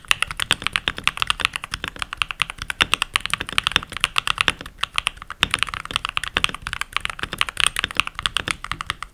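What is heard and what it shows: Fingertips with short nails and rings on the fingers type continuously on a full-size backlit mechanical keyboard with pink plastic keycaps. The result is a steady, rapid stream of crisp, bright plastic clacks centered near 2.7 kHz, with very little low end. Each keystroke cuts off almost instantly.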